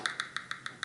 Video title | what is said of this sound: Star Trek TOS 1/350 Enterprise Build Episode 5 | it sounds the same as if you tap on part of the model it's pretty solid